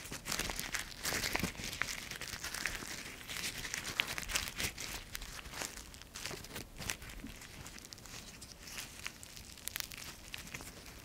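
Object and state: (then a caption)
Dry maple leaf, crumpled. A single dry yellow maple leaf, thin and brittle, is crumpled and crushed between the fingertips of both hands close to the microphone. Dense, bright crinkling and crackling snaps come in quick bursts, louder over the first half and settling into softer, finer crackles toward the end.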